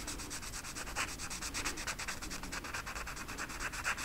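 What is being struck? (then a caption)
Felt-tip marker on a flocked velvet sheet. A felt-tip marker held in the fingertips is rubbed back and forth over the pile of a flat black flocked-velvet coloring sheet with a peacock design lying on a table. The strokes make a steady, bright, scratchy rubbing that pulses quickly and stays even throughout.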